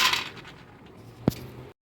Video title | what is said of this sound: Eggless Macaron बनाना सीखें/ Eggless Macaron recipe step by step /How to make Eggless Macaron | देखो इनकी जैसे कुरकुरी आवाज आ रही है ये बिल्कुल ही सूख चुके हैं